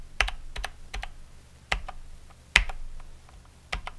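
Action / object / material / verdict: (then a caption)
tap / mechanical keyboard with plastic keycaps / plastic / none. A plastic mechanical keyboard with Cherry MX Brown switches and plastic keycaps is tapped one key at a time by a fingertip, including the spacebar and Enter. Sharp, bright clicks come in an uneven rhythm, with a few louder, fuller strokes standing out above the quick, light key presses.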